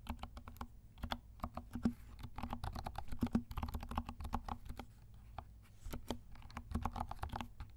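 A compact black mechanical keyboard with silent switches and black and pink plastic keycaps is typed with the fingertips of both hands. Soft, muffled clicks and thumps fall in quick, uneven bursts over a faint low hum, each keystroke dying away almost instantly.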